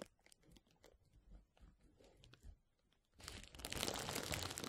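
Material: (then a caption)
Plastic. A roll of clear plastic bubble wrap is held over the mic and rubbed and squeezed by the fingertips of both hands. Soft, scattered crinkles and small crackling ticks are heard at first. After about three seconds they swell into a loud, dense, bright rustle of crinkling that fills the rest of the clip.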